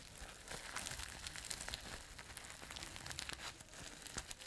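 Long nails scratch and rub the sequins of a flat, soft, hollow multicolour sequin fabric pouch held close to the mic. The result is a dense, bright, crinkly rustle with quick scratchy clicks that keep going without a break.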